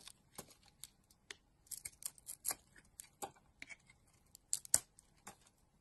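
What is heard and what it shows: A utility knife blade pares thin curls from a solid pink and blue bar of soap held in a hand with long dark nails. Quiet, crisp scraping and cutting strokes sound as about thirteen short, bright, dry scrapes with almost no low end and no ring.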